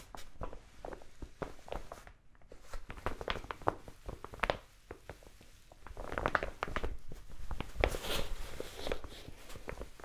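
A large brown kraft paper mailer envelope, seemingly empty and held in both hands, is tapped and scratched with long nails. Dense bursts of dry, crinkly paper taps and rustling scratches come in quick clusters, with a brief quiet gap near the start and another lull midway before the crackling picks up again.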